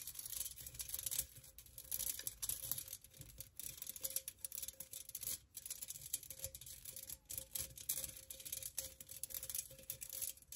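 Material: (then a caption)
Metal. Long nails tap and scratch a hollow, empty pink perforated metal pencil cup with cutouts. A quiet, continuous stream of quick, bright scratchy taps with very little ring, plus a faint steady hum near 550 Hz underneath.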